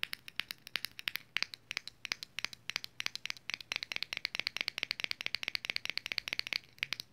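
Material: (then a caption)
Metal. Long acrylic nails rapidly tap and scratch the printed lid of a small round red metal Vaseline lip balm tin. Dozens of sharp, bright clicks ring around 2.8 kHz, each dying away almost instantly, with no low end beneath them. The taps come in quick irregular bursts for about seven seconds.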